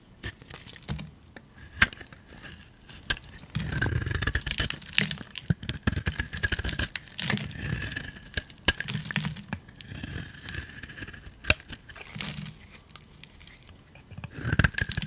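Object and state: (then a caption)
Bar of soap being scraped. A hand-sized solid turquoise bar of soap, held in one hand, is shaved and scraped with a metal blade. The clip is a run of dry, crunchy scraping and shaving strokes with crackly, tearing texture and a bright edge. Denser, louder passages of crunching alternate with quieter gaps.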